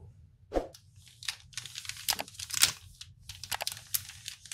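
Fingertips handle and crinkle the printed plastic film wrapper of a flat, hand-sized Kinder Chocolate multipack full of bars, possibly beginning to open it. Bursts of bright, crackling crinkles and short tearing rustles come at an uneven pace over a faint low hum, with one louder crackle near the middle.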